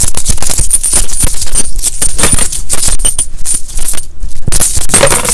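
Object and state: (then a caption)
Pile of mixed coins. A gloved hand scoops, lifts and drops handfuls of small solid metal coins from a large loose pile of mixed US coins, copper pennies and nickel-clad coins, back onto the pile resting on a towel. The coins make a dense, continuous jingling of metallic clinks with a bright shimmer and dull low thumps as they land, with only brief dips in loudness.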